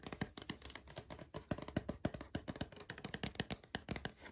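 Fingers tap quickly and irregularly on a cardboard crisp tube, giving a rapid series of soft, hollow thuds. Each tap is short and dry with almost no ring, carrying a low body around 200 Hz and a light bright click on top.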